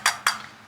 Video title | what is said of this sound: WE BAGGED HIS BRAND NEW M4! (WHEEL REVEAL?!?) | it sounds like plastic because you have the center cap but I mean it's metal